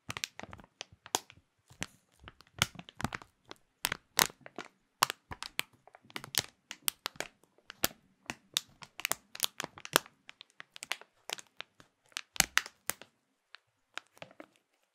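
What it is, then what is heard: Clear plastic food package. Both hands squeeze and crinkle a clear printed plastic bag holding a small food item with their fingertips. A steady stream of sharp, bright crackles and crinkles follows, each burst short and dry with almost no ring, and brief pauses fall between clusters.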